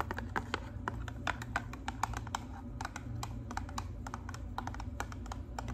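Long pink nails tap rapidly on a hollow pink and white cardboard hair color box, held beside the face with its top flap open. The taps are quick, dry clicks with a papery knock around 900 Hz that die away almost instantly. They sit over a steady low hum.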